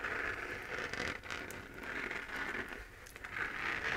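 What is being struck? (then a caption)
3D-printed plastic moon lamp shell. Long dark-painted nails scratch across the textured crater surface of a glowing, hand-to-head-sized spherical moon lamp, a hollow 3D-printed plastic shell held in one hand. The result is a steady, dry scratching and crackling rasp centered in the upper mids with bright hiss on top, swelling and dipping slightly as the strokes move.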